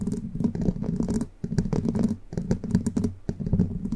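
Long pointed plastic witch-finger nail caps with red tips, worn on all fingers of both hands, scratch and tap the hollow, rounded metal mesh grille of a large condenser microphone. Dense, muffled scraping and pattering runs in bursts with brief dips, carrying a low, boomy body and very little high end.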